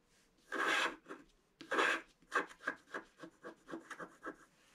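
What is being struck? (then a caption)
Coated scratch-art paper scratched with a wooden stick. A pointed wooden stick scratches a flat scratch-art page, a black coating over colored paper. Two longer, louder scrapes are followed by a run of short, irregular strokes, each a dry, bright rasp with little low end and almost no ring.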